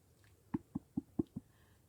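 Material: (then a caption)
Cotton. Cotton quilting fabric is snapped taut across the grain (crosswise, along the weft), producing five short, sharp pops with a pitch around 300 Hz. This crosswise snap sounds higher than the lower-pitched snap made along the lengthwise grain.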